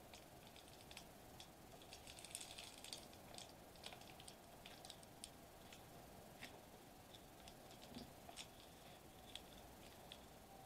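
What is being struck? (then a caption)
Metallized plastic bubble wrap sheet. Fingertips of one hand lightly tap a flat silver metallized plastic bubble wrap sheet lying on a white table. The result is a quiet, steady patter of short, bright, crinkly ticks that die away almost instantly, over a faint constant hum.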